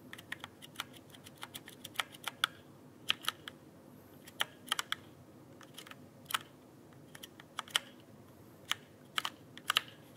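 A full-size backlit mechanical keyboard with plastic keycaps on a rigid frame is held upright near the microphone while fingertips press and tap the keys. About 31 sharp, bright clicks ring near 3.1 kHz and die away almost instantly, spaced unevenly over a faint steady hiss.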